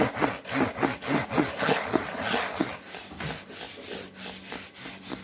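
Fingernails and fingertips scratch and rub a white cardboard Priority mail box with a fold line. The clip carries a steady run of dry, papery rasping strokes that repeat in a loose rhythm. A constant high hiss runs underneath.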